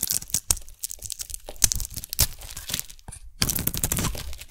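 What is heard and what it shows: A metal blade shaves a solid round pink soap bar with sprinkles, peeling off pink curls. The scraping comes as a dense run of crisp, bright crackling and tearing bursts with some low thuds. After a brief quieter pause it turns into a steadier, rougher shave.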